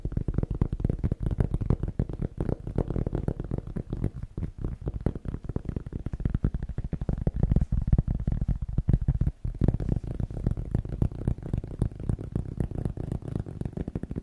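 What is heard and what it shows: A cork object is tapped fast and aggressively with the fingers, making a dense, steady stream of dull, low thuds that stop almost instantly with no ring. The tapping runs without a break for the whole clip, with a brief dip just after nine seconds.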